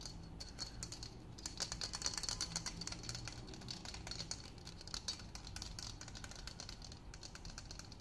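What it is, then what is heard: Steel ruler. A long, thin, flat, solid stainless steel ruler is held in both hands and tapped and flexed with fingertips and nails. Rapid, light clicking taps with a short, bright metallic ring continue steadily over a faint low hum.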